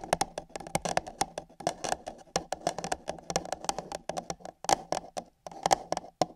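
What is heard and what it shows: Long yellow nails tap and scratch the wall of an empty, printed, thin-walled paper coffee cup fitted over a binaural microphone ear. The result is an irregular stream of quick, dry clicks with a hollow ring around 760 Hz, broken by brief bright scratches. Each tap stops almost instantly, with short pauses between bursts.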